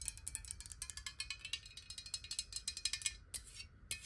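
Long nails tap rapidly on a clear, square, hollow glass water bottle that is partly filled with water, held upright and then tilted. The taps are quick, bright, glassy clicks with almost no ring, concentrated in the high range. A few short pauses break the steady stream near the end.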